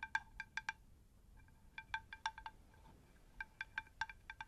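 A shallow, round, unglazed terracotta plant saucer, hollow and empty, is held in both hands and tilted close to the microphones while long acrylic nails tap its face and rim. Quick, bright clicking taps come in uneven clusters separated by short pauses, each ringing briefly with a clear chime-like tone around 1.6 kHz and a lower partial near 900 Hz. The overall level stays quiet.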